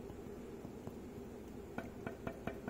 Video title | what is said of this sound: Shaping a cast iron camelback straightedge | That means it's rocking back and forth between that point and that point.